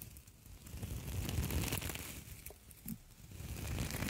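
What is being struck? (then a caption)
Copper wire mesh scouring pad. Two identical palm-sized copper wire mesh scouring pads, hollow and springy, are held one in each hand and squeezed, crinkled and scratched with fingertips and long nails. A dense, continuous crackling rustle with bright, scratchy ticks rides over a heavy low rumble, swelling and easing in waves.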